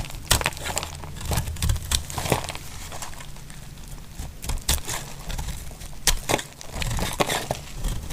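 A utility-knife blade cuts and shaves chunks and curls from the edge of a solid, dry pink bar of soap held in the hand. It makes dry, crisp crackling and crumbly scraping sounds, with sharp bright snaps over a low, steady rumble.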